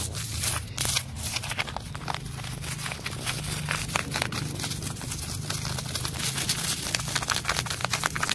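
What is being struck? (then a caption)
Flaky tree bark scratched by fingernails. Fingertips and nails scratch and pick at the flaky, peeling red-orange bark of a solid tree trunk. Close-up, the flakes give dry, bright crackles and crinkly scrapes in dense, overlapping bursts over a steady low hum, building in intensity toward the end.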